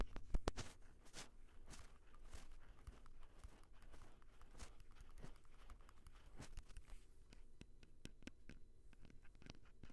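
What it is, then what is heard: Plastic handheld audio recorder. Fingertips tap and touch the mic head and hard plastic body of a small Tascam handheld audio recorder with metal mic capsules. The result is a quiet, irregular run of soft, dull, low-heavy thumps and brief clicks, with light rubbing and crinkly handling noise between them.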